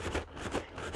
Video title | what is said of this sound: Plant Mail!! Part One: How to Pack Plants | if I shake it you hear that yeah it's not ready